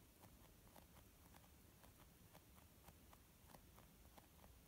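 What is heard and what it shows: Fingernail tips tap slowly on a white, textured leather makeup bag with a zip. The taps are soft, dull clicks over a steady low background rumble.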